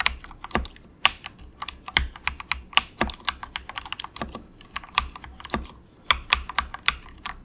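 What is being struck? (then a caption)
Plastic mechanical keyboard. Fingertips of both hands softly type in quick taps on a cheap, compact mechanical keyboard with grey and orange plastic keycaps and a hollow plastic case. A steady run of short, bright plastic clacks sounds, with a few louder strokes carrying a brief low thump. Each keystroke dies away almost instantly.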